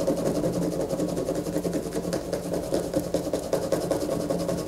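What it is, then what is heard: Bar of soap being scratched. A solid bar of white soap lies on a paper poster, held in one hand while long fingernails on the other hand scratch across it. The result is a steady, dry rasping scratch with uneven repeated strokes and a low-mid body. It carries no ringing tail.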